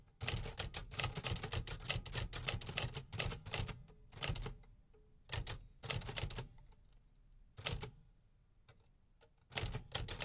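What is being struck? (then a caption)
Metal desktop typewriter. Fingertips type steadily on a 1950s Remington Quiet-Riter, a large, hollow, metal-bodied desktop typewriter with paper loaded. Rapid runs of sharp, bright mechanical key and typebar strikes over a low, thudding body resonance come in bursts separated by short quiet pauses. Each strike is crisp and dies away almost at once.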